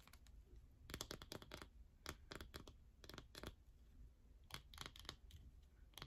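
Long fingernails scratch inside the center hole and along the edges of a yellow bar soap, producing fast, dry scratching and tapping. Short bright bursts come in quick clusters with brief pauses between them.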